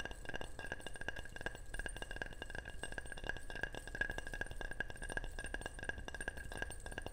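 A ceramic object is tapped quickly and steadily, producing a long run of bright, short clinks that ring around 1.6 kHz and fade fast. A low, steady rumble sits underneath the taps throughout.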